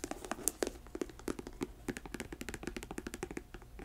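Long nails tap rapidly on the leather upper and thick rubber sole of a hollow, empty black patent leather boot tilted on a table. The taps come as a quick, uneven stream of short, dry clicks with a few sharper, bright ones, each dying away almost at once.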